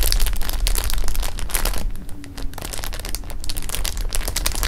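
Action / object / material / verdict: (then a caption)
scrape / clear plastic bag of jelly beans / plastic film / none. Fingers rub a clear plastic bag of jelly beans against fabric, then lift it and roll it between the hands, crinkling the film. Dense, bright crackles and rustles run throughout over a low rumble, briefly softening in the middle before picking up again.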